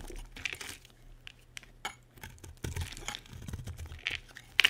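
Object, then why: Bar of soap cut with a metal blade. A solid, dry cream soap bar held in the hand is carved with a metal utility blade. A series of short, dry scraping and cutting strokes give crisp, bright crumbling and crackling sounds, with a low hum underneath. A few sharper clicking snaps stand out near the end.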